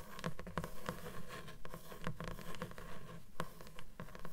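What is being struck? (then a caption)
Closed paper book, page edges. Long nails tap rapidly on the paper page edges of a closed blue book, the solid stack of pages giving short, dull, low taps in a loose, uneven rhythm. Each tap stops almost at once, with a faint scratchy rustle of paper between them.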